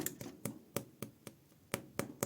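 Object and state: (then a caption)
Baked-through bread loaf, hollow sound. Nine light taps on a gluten-free sourdough loaf, baked 40 to 50 minutes under a lid, give short, dry, hollow knocks with a midrange tone and a little bright click. The hollow sound shows the bread is baked through; it then goes back in for 15 to 20 minutes without the lid to crisp the crust.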